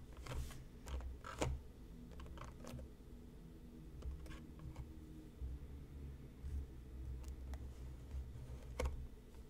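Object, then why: Cardboard tea box. Fingertips and nails tap the top and sides of a hollow, printed cardboard tea box resting on a cutting mat. Soft, dull, low thuds mix with brief, bright, crisp clicks from the nails. Each tap dies away almost at once against a quiet background.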